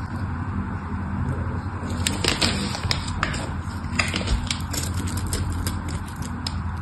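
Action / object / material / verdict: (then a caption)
scrape / bar of soap / soap / none. A solid pink-and-white striped bar of soap is held in the hand while a craft knife scores it and carves off cubes. Sharp, bright scraping clicks and crackles stand out over a steady low background hum.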